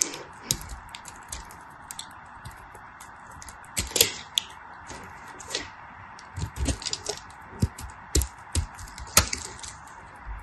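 A knife blade carves a solid bar of dry purple soap with white stripes, held in the fingers, into small cubes and chips. Short, dry, bright cracks and crisp scraping snaps sound irregularly over a faint steady hiss, each click dying away almost instantly.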